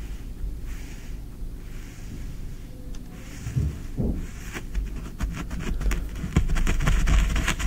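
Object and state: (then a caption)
Kinetic sand being scratched. Fingertips scratch and rake through green kinetic sand in a tray. Soft, grainy scratching sits over a low rumble, then turns into sharper, crackling strokes with bright edges that grow louder toward the end.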